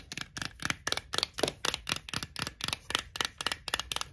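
Long acrylic nails tap and scratch the printed plastic snap lid of a tall Texas BBQ Pringles can, a cardboard composite tube, then scratch the side of the tube. About 17 quick, crisp, bright clicks and scrapes come in an uneven rhythm, each dry and short with almost no ring or low end.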